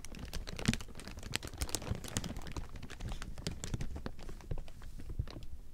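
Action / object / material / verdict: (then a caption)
scrape / thin clear plastic sheeting / plastic film / none. Fingertips scratch and crumple a large heap of thin clear plastic sheeting, producing a steady stream of dense, crackly crinkles with bright, sharp snaps throughout. The texture stays busy and close, with a few louder pops standing out from the rustle.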